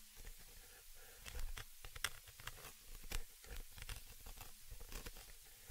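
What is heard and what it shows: A dark pointed object scratches and taps across the cylindrical metal mesh grille of a stereo microphone, close to the recording source. Irregular crackly, tearing scratches with sharp bright taps sound over a heavy low rumble. The bursts are short and dry and fade almost immediately.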